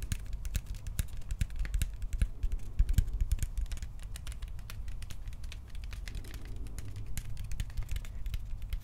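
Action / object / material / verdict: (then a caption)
tap / hollow hard plastic toy blaster / plastic / none. A hand-sized Star-Lord style prop blaster of hollow hard plastic, with metallic paint and yellow accents, is held in both hands and tapped and scratched with the fingertips along the barrel and grip. The result is a dense, continuous run of quick, dry clicks and taps over a low hum, with light scratching in between.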